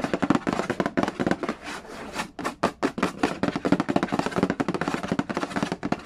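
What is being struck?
Cardboard board game box.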